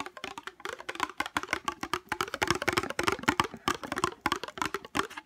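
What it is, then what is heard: Small hollow plastic case. A small hollow navy-blue plastic case is turned over in the hands and tapped with fingernails on its base and sides. The result is a rapid, uneven run of short, dry, clicky taps with a light hollow knock and almost no ring, mostly in the mids with some bright edge.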